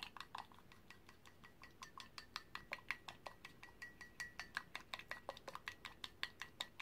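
A paintbrush is stirred and clinked against the inside walls of a white ceramic mug with a handle, held in one hand and holding green paint. Quick, irregular clinks follow one another at roughly two to three per second, each a short, bright tap with a faint ringing tone near 2.1 kHz that dies away almost at once.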